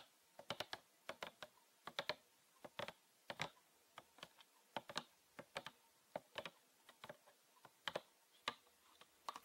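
Fingernails tap and scratch the textured side of a green PET plastic bottle with a red cap, full of liquid and held sideways. About thirty quiet, sharp, dry clicks come in irregular clusters, bright and crisp with almost no ring and very little low end.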